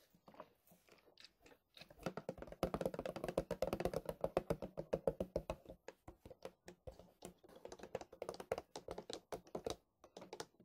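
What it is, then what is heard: Plastic milk bottle. A large white plastic milk bottle is tapped with fingertips, first upright and then tilted sideways in the hands. Quick, irregular hollow taps come in bursts with a mid-pitched resonance. They grow denser and louder in the middle, then thin out toward the end.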